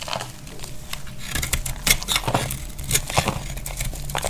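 A utility knife blade carves a dry, tan-brown solid bar of laundry soap, and dry chips crack off. Crisp, bright crackles and scraping snaps come in an uneven run over a steady low background hum, each one short with almost no ring.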